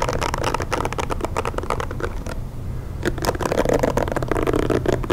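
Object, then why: Plastic hair brush. Fingernails tap and scratch across the back and bristle side of a pink plastic hair brush, making a dense run of dry clicks and scraping rustles over a steady low hum. The sound eases briefly halfway through, then the tapping resumes with fuller, brighter scratches.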